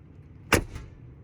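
The steel front door of a 2021 Mercedes-AMG G 63 SUV is swung shut. It closes with a single short, low thud and a brief latch click, and the sound is super solid.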